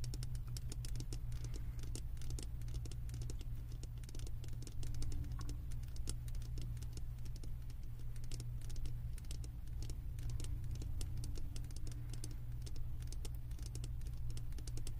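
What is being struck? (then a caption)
Wax-filled glass candle jar, tapped on its base with long nails. Long acrylic nails tap and scratch the bottom of a large, wax-filled glass candle jar held tilted. The result is a steady run of quick, crisp clicks and light scratches with bright edges over a constant low hum, each tap dying out almost instantly.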